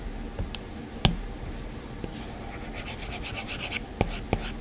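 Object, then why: Plastic stylus tip on a glass tablet screen. A plastic-tipped Apple Pencil scratches and strokes across the flat glass touchscreen of an iPad while drawing an eye. Five sharp taps of the tip stand out against a low background hiss. Between them, a run of soft, bright scratchy strokes fills the middle of the clip.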